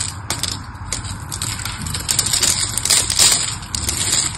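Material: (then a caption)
Soap. A small blade carves crumbly flakes off the face of a solid, palm-sized pink bar of soap held in the hand, using rapid scraping cuts. The sound is a steady stream of bright, crisp, crackling scrapes that are mostly high-pitched with a faint low rumble underneath. The scrapes grow slightly louder and denser toward the middle and end of the clip.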